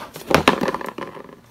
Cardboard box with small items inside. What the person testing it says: it sounds like something rattling inside of it